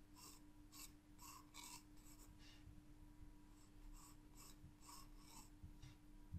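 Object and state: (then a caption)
Pencil strokes on a paper sketchbook page. A green graphite pencil draws line strokes on a spiral sketchbook page with a leaf outline. Short, bright, scratchy strokes repeat steadily over a quiet, constant low hum.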